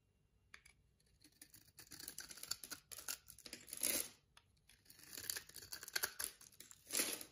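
A solid white soap bar with a copper checker pattern, held in the hand, is scored with a box-cutter blade and crumbled into cubes. Bright, dry scraping and crunching come in bursts of short crackles, with fuller crunches swelling between quieter pauses.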